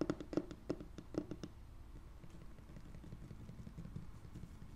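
Fingertips with short painted nails and rings tap across a large, flat, solid light wood-grain laminate tabletop, close to a foam-covered mic lying on it. A quick series of short, dull, low taps fills the first second and a half, then gives way to soft, quiet scratching across the surface over a low rumble.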